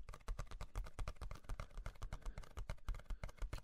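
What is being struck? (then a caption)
Cardboard six-pack carrier box. Fingertips tap and scratch the side panel of a hollow, printed cardboard Ciderboys six-pack cider carrier with a cut-out handle, held up beside the face. The result is a quick, uneven run of soft, dull, low thuds with brief scratchy ticks and almost no ring, heard up close at low volume.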